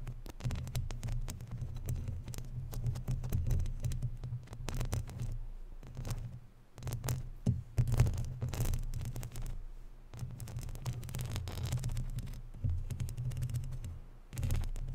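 Long natural nails scratch and rub over the top of a round, hollow, woven metal mesh microphone grille. The result is a dense, continuous scratching with a heavy, throbbing low rumble and faint bright crackles. It briefly drops quieter around 6.5 and 10 seconds before picking back up.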